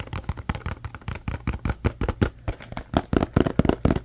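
Fingertips and nails tap and rub the surface of a small, apparently empty paperboard Scrub Daddy box with its flaps open. The result is a rapid, uneven series of short, dull, low-heavy taps that die away almost instantly, mixed with soft scratchy rubbing between them.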